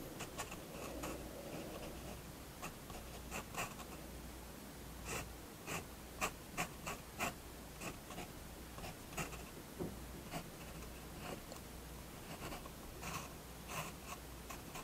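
A fine-tip pigment fineliner pen draws short strokes on a page of a spiral-bound paper sketchbook lying flat on a wooden table, while the other hand holds the page. About 11 light, bright scratches stand out at an irregular pace over a faint steady low hum.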